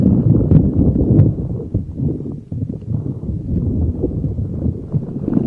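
A neon green soft rubber spiky puffer ball is rubbed and squeezed with fingers over a microphone. The result is a close, muffled rustling and squishing with dense, uneven crackles that stay low and dull, with almost no high content. The level dips slightly in the middle and then rises again.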